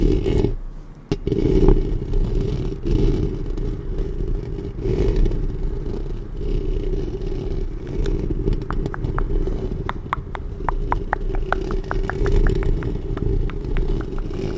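Long painted nails scratch the hollow metal mesh grille head of a black studio microphone with both hands. A steady, heavy low rumbling scrape runs throughout, scattered with sharp little clicks and ticks that grow more frequent in the second half.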